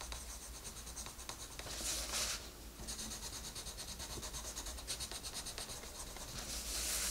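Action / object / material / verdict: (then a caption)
scrape / wooden colored pencil on paper page / paper / none. A green wooden colored pencil colors a flat paper coloring book page in steady scratching and rubbing strokes. The strokes make a bright, papery hiss with a quick, uneven rhythm, swelling louder around two seconds and again at the end, over a faint low hum.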